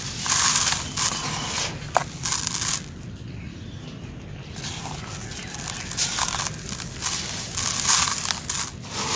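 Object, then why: Sand-cement mix. Bare fingertips and hands squeeze and crumble solid balls of grey, grainy dry sand-cement mix in a pink plastic basin, and some of the loose grains pour out. The sound is a dense, bright, gritty crunching and crackling hiss. It eases into a quieter, softer trickle in the middle before the crumbling grows louder again.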